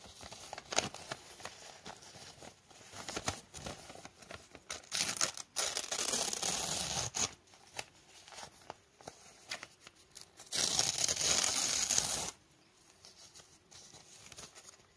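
A small, hand-sized scrap torn from a thin, glossy printed travel catalog page is held in both hands, then crumpled, rubbed and rolled between the fingertips into a tight roll. Bright, crisp crinkles and rustles come in quick irregular bursts, with two longer, louder stretches of sustained scratchy friction. The sound ends in quieter, sparse crackles.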